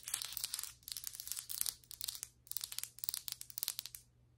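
Long white acrylic nail tips tap and scratch the surface of solid ceramic floor tiles. Bright, crisp clicks and dry scratchy rasps come in several bursts separated by brief pauses, with almost no low end beyond a faint steady hum. The later bursts break into quicker, sharper taps before fading out.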